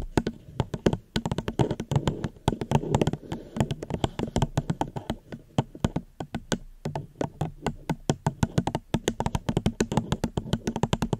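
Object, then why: Plastic cup. A plastic cup is tapped gently with fingers close to the microphone in a quick, uneven series of light taps. Each tap gives a short, dry click with a low hollow body and a brief bright tick, dying away almost at once. The taps come in irregular flurries with tiny pauses between them.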